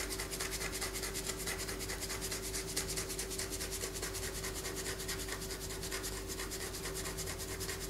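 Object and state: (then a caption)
Bar of soap being scratched. A palm-sized solid white bar of soap, held in one hand above a paper poster, is scratched with long fingernails, and soap shavings fall onto the poster. Quick, steady raspy scraping strokes repeat continuously with a bright, crisp texture over a faint constant low tone.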